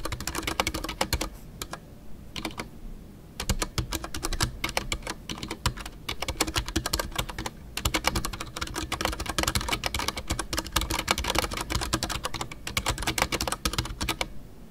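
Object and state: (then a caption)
Mechanical keyboard with PBT plastic keycaps. Fingertips type continuously on a full-size Ducky One 2 mechanical keyboard with a white case, MX Brown switches, PBT plastic keycaps and custom artisanal keycaps. Rapid, dense clacks with bright, sharp attacks and a low thock underneath are heard, each dying almost instantly. Brief pauses fall near 1.5, 3 and 7.5 seconds.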